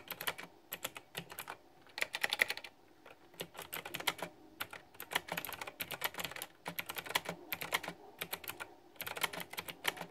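Two hands type with their fingertips on a backlit, pink flower-themed plastic retro mechanical keyboard with round, typewriter-style keycaps. Bright, crisp key clicks come in quick bursts with brief pauses between them, and each tap dies away almost instantly.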